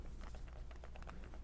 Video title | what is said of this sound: How To Fill Your Pods and Put Them In Your Pod Pack Properly | significantly reduced the sound of the shaking in there i would say this pot is ready to go